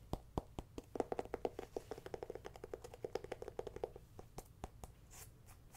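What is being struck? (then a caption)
Small whole pumpkin. Long painted nails tap and scratch along the ribs and stem of a small, whole, hollow orange ribbed pumpkin held in the hand. The result is a quick series of short, dry clicks with a hollow tone around 460 Hz, mixed with soft scratching.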